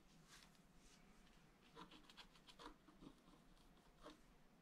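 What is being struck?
Black-coated scratch art paper scraped with a wooden stylus.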